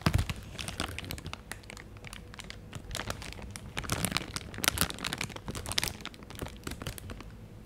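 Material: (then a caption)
Plastic. A thin, transparent plastic bag, hollow and crumpled, is held beside the mic while fingertips squeeze, crinkle and rub it. Dense, rapid crackling is heard as bright, sharp snaps over a low handling rumble, with louder bursts of crinkling throughout.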